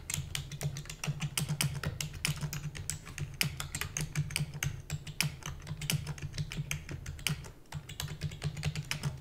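Fingertips and long natural nails type rapidly on a full-size black plastic computer keyboard with plastic keys and a hollow housing. Dense, bright, clacky keystrokes rattle on continuously over a steady low hum, with only a brief lull near the end.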